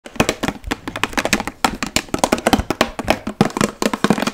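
A large, hollow, partly filled clear plastic water bottle with a blue cap and label is tapped quickly with long nails fitted with metal paperclips. A rapid, uneven run of short, sharp clicks and taps follows, each dying away almost instantly, with a bright edge over a faint hollow tone around 230 Hz.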